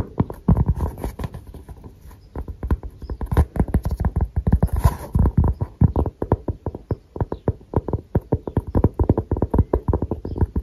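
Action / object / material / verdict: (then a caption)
tap / thin cork coaster / cork / none. Fingertips and nails tap and scratch the grainy surface of a round, thin, solid cork coaster held in both hands. The result is a rapid, irregular run of short, dry, muffled taps with low thuds and soft scratchy texture, with no ring after each hit.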